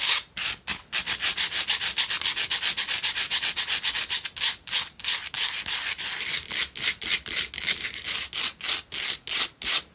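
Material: Rock salt.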